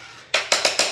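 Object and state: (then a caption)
Hollow-sounding floor tile. A ceramic floor tile in a newly built home is tapped four times, giving quick, bright, hollow clicks with a short ring. The hollow sound means the tile is poorly bonded.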